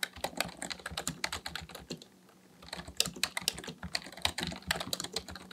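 Fingertips type steadily on the plastic keys of a black full-size plastic computer keyboard resting on a desk. A fast run of sharp, bright clicks and taps pauses for about a second of near silence, then resumes at the same brisk pace.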